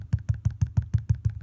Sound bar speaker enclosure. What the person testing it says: you can hear when I tap on there how hollow this box is